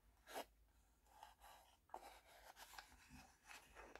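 The wooden sliding lid of a small hollow wooden tea box is pushed open and closed with soft scraping slides, while fingernails tap the box. About six quiet, short, dry knocks stand out, with a woody tone around 750 Hz and brief bright rasps from the sliding lid.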